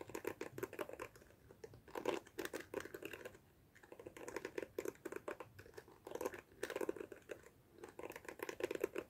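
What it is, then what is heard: Plastic hairbrush bristles. Long fingernails rake and flick the plastic bristles of a black plastic detangling hairbrush held close to the mic. Rapid bursts of dry, clicky ticks with a bright edge and a midrange body come in quick runs, separated by brief pauses.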